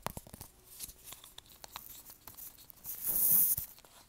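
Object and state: Plastic lotion tube.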